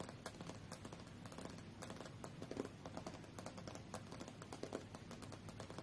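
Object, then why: Glass tablet screen tapped with fingernails. Fingernails from both hands tap rapidly on the solid glass screen of a tablet lying face-up on a fur rug. The result is a quick, dense stream of short, dry clicks with almost no ring, over a soft low rumble.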